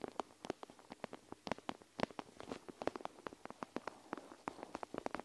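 Long nails scratch and squeeze a panda-shaped plastic gel-bead eye mask draped over the recorder. A quiet, rapid series of short, dry clicks and crackles comes from the plastic and the shifting beads, with a faint scratchy rustle in between.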